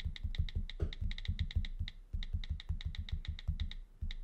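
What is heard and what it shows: Fingertips tap quickly on the flat glass screen of an iPad in a brown case lying on a desk, typing on the on-screen keyboard. Each tap is a dull, low, short thud, paired with a faint, bright, regular keyboard click.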